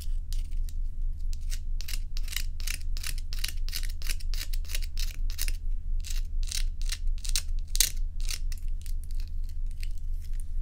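Long nails scratch and rub solid ice cubes held in the hand, making quick, bright, scratchy strokes at roughly two per second. A steady low hum runs underneath throughout.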